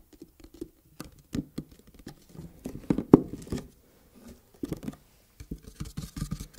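Long red-painted fingernails tap and scratch the surface of a long, flat red cardboard gift box lid with gold "ASMR KittyKlaw" print, held up in both hands. The result is an irregular patter of soft, dry, hollow taps with brief scratchy rustles, each stopping instantly without ring. The taps center around a low-mid thump, with one sharper tap standing out near the middle.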